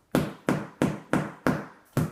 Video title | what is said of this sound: The Quest for Thunder - Kayak Unboxing Pt II | you can do the old thump test hear how inflated that is